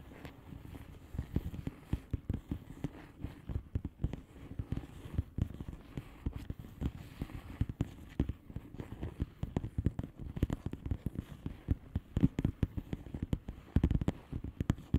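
Long fingernails on both hands tap across the bubbles of a flat blue plastic bubble wrap envelope. The result is a steady, dense stream of quick, soft, dull clicks with almost no ring, weighted toward low frequencies, with occasional louder taps standing out throughout.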